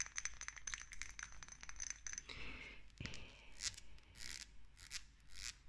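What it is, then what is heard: Small glass dropper bottle. Long nails tap quickly on a small dark amber glass dropper bottle with a green paper label and a black dropper cap, striking both the glass and the cap. The taps come as fast, irregular clicks and clinks with a high, bright tone and a brief scraping stretch. Each tap dies out almost at once.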